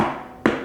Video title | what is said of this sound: BEST LAP DESK OF 2022 SIDE BY SIDE COMPARISON | a little better particle board